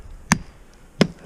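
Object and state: Solid hickory snag stem.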